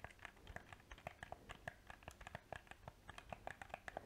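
A small, hollow black plastic PS4 controller has its buttons clicked and its surface tapped with painted fingernails. The result is a rapid, uneven run of sharp, dry plastic clicks with a hollow mid-range tone and no ring, many individually spaced across the clip.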